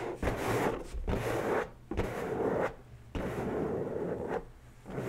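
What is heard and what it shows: Long bare natural nails scratch and rub the surface of an inflated, hollow, head-sized pink latex balloon resting on a table. Four dense, raspy rubbing strokes, centered in the low-mid range, are each separated by brief quieter pauses.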